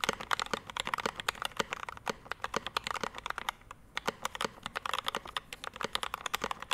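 A 65% Rama M65-B mechanical keyboard, a solid, heavy board with a dark metal case, PVD brass plate, lubed Mint Panda linear switches and pink and white double-shot ABS keycaps, sits on a desk mat while both hands type with their fingertips. About 42 quick, dry keystroke clacks are heard, centred in the midrange with little low end and no ring, in a steady patter that briefly thins out near the middle.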